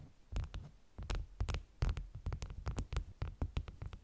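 Long nails tap and scratch the top sheets of a stack of flat, beeswax-coated cotton food wraps with a bee print lying on a table. The result is an uneven run of soft, muffled, low thuds, each dying away quickly, with faint bright scratchy edges on the strokes.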